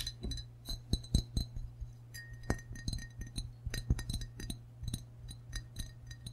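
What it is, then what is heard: Ceramic mug tapped with fingertips and nails. Fingertips and nails tap the belly and rim area of a hollow, glazed ceramic frog mug held in both hands. A quick, uneven run of bright clinks and clicks plays over a steady low hum. Some taps leave a brief high ring that lingers for about a second.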